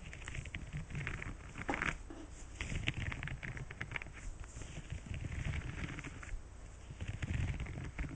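Fingertips strum, brush and scratch across the rows of bristles on a green silicone scrubber pad. The result is a steady, quiet patter of soft flicking and rustling scratches, with a dull low-end body and bright crackly ticks on top.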